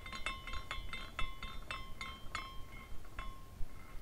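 A hand spins a small clear glass carousel ornament by its top; it has glass horses, a spiral pole, a cone roof and a rainbow base. Its hanging glass parts clink together in a loose, uneven run of light chinks, each with a thin bright ring near 1 kHz and 2 kHz. A soft low rumble sits underneath.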